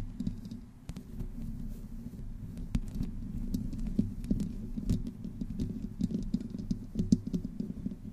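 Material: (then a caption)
Metal mesh. Long fingernails of both hands slowly scratch the sides of a black microphone's hollow metal mesh grille. The result is a close, dense low rumble with a steady hum, broken by many sharp scratchy clicks and faint bright ticks.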